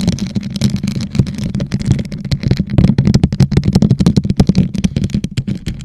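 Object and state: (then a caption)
Rhinestone-studded plastic tumbler. Long nails on both hands tap and scratch a hollow, teal, rhinestone-studded plastic tumbler set upside down over a microphone. The result is a dense, fast stream of short clicky taps and scrapes over a hollow, boomy low resonance, with each hit dying away quickly.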